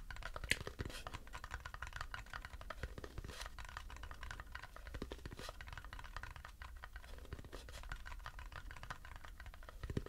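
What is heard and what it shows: A light turned wooden bowl, empty and held upside down, is tapped quickly on its underside with fingertips and nails. The result is a dense, steady stream of short, dry, scratchy clicks with a bright edge, each dying away almost at once over a faint low hum.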